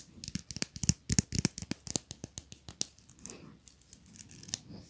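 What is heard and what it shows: Long nails scratch and pluck the teeth of a small, solid, pink plastic wide-tooth comb, producing quick, irregular rattling clicks. Sharp, dry ticks with bright high-end crackle come in dense bursts for the first three seconds, then soften into quieter scratching with a few scattered clicks.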